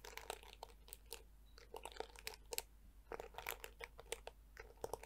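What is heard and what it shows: A handheld black plastic detangling brush with flexible yellow plastic teeth is scratched and flicked by long nails, and its hollow plastic back is tapped. A dense run of quiet, dry, crunchy clicks and taps with brief bright ticks follows, each dying away almost at once.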